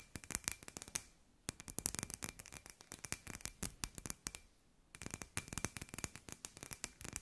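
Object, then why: Hand-sized hollow glass sphere. Long nails tap rapidly on a hand-sized hollow glass sphere with fairy lights inside, giving quick, bright, dry clicks with almost no ring. The tapping comes in three fast bursts separated by two short pauses, with a faint steady tone running under the taps.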